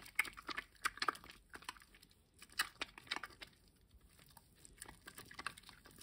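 A wet, lathered green solid rectangular bar of household soap is rubbed between bare hands and fingertips over a water basin. The sound is quiet, bright, crackling squelches and sticky clicks in uneven bursts, with soft gaps between strokes and almost no low end.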